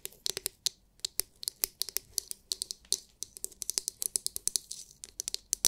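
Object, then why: Hard clear plastic massage brush dome. Long nails tap rapidly on the hard, clear, glitter-filled plastic dome of a palm-sized oval massage brush. The result is a quick, uneven stream of sharp, bright clicks that stand apart, with almost no low end. Each tap stops dead without ringing.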